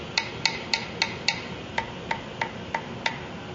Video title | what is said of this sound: Parker Fly Guitar FRET Repair | dead sound can you hear the difference sounds like wood